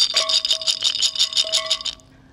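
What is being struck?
Glass jar of mixed nuts.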